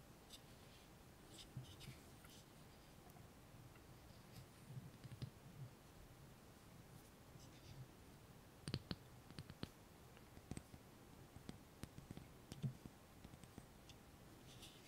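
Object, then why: Small glass jar with metal screw lid, filled with water beads. A small, hollow, clear glass jar with a dark metal screw lid, filled with soft water beads and held in both hands over a dark surface, has its glass sides tapped and scratched with medium-length fingernails. Quiet, dry, bright clicks and faint scratching sound over a soft low murmur, with the taps growing denser and sharper in the second half.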